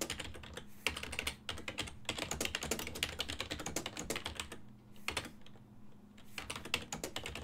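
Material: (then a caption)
Plastic. Fingertips of both hands type on a full-size black and silver plastic desktop keyboard whose keys sit on a hollow body, producing rapid, bright, short plastic clicks. The clatter runs in quick bursts with brief pauses near the middle before resuming over a faint steady low hum.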